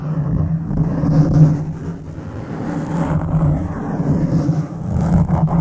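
Fingertips of one hand scratch a black foam windscreen on a silver microphone, making a continuous low, muffled rumbling rustle. The sound swells and dips over several seconds, with a steady droning tone around 150 Hz and almost no high end.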